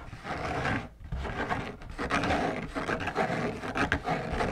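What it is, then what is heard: Fabric lampshade being scratched. Fingertips and long nails scratch the white textured fabric outside of a large, hollow, drum-shaped lampshade held upright on a table. The result is a dense, continuous rasping scratch with a hollow low body and uneven strokes surging roughly once a second, broken by a brief near-silent gap just before the one-second mark.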